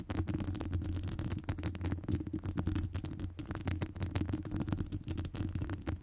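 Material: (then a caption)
Metal mesh. Long acrylic nails scratch the top of a hollow metal wire-mesh microphone grille. The result is a dense, rapid run of crackling scratches over a heavy, low, boomy rumble, with brief brighter bursts. The sound stays continuous with no pauses.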